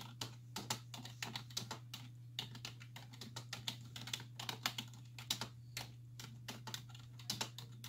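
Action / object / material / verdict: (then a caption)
tap / plastic computer keyboard with hollow key caps / plastic / none. Two hands with long white-tipped nails type continuously on a black plastic desktop keyboard with hollow key caps resting on a wooden desk, nails and fingertips tapping the keys. The result is a rapid, uneven stream of short, bright clicks and clacks that die away almost instantly, over a steady low hum.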